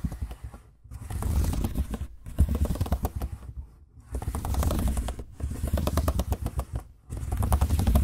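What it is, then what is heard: Plastic laptop keyboard being typed on. Fingertips type quickly across the plastic chiclet keys of a silver laptop keyboard, making dense bursts of soft clicking and tapping. The bursts are separated by brief pauses and carry a strong low thump under the clicks.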